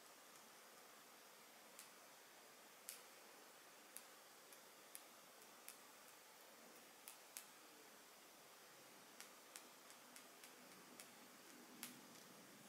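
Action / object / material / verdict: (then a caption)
tap / small glass perfume bottle with glass stopper / glass / none. Long nails tap a small, partly full Gucci Flora square glass perfume bottle with a glass stopper, making quiet, bright, irregularly spaced clicks. Each tap is sharp and dies away almost at once, over a faint, steady hiss with no low rumble.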